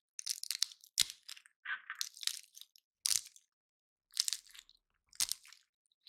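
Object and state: Pine cone scratched by fingernails.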